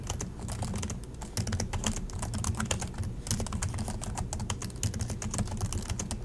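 Both hands type continuously with their fingertips on the plastic chiclet keys of an Acer laptop keyboard. The result is a steady stream of rapid, overlapping taps, each a short bright click over a dull low thump, with almost no ring between strokes.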